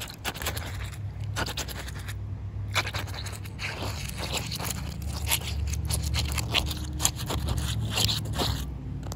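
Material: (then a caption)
Concrete. Short white nails scratch across a rough, wet, solid outdoor concrete slab, producing irregular dry scraping strokes with bright, crackly edges. A steady low rumble sits underneath the scratching throughout.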